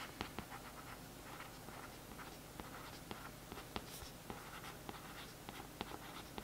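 A thin paintbrush scratches and traces over the printed text on the back of a glossy cardboard paperback book cover lying flat. It makes a soft, steady, bright scratching with several sharp little ticks as the bristles catch. The sound is quiet and close, with a low hum underneath.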